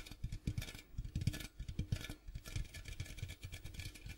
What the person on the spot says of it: ASMR Tapping Sounds on Popcorn Box